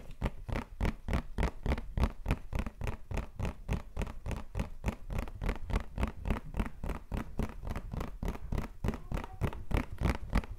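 A printed white cardboard tissue box, filled with tissues and held in hand, is tapped and scratched rapidly with fingertips and nails. The result is a fast, steady stream of short, dry taps and scratchy brushes, with most of the energy low and dull and little ring.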